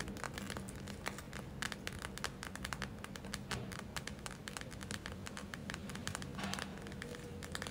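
Long acrylic nails rapidly tap and scratch the surface of a gel-filled plastic eye mask with glitter, held in the hands. The result is a dense stream of crisp, bright clicks and crinkly scratches over a steady low hum.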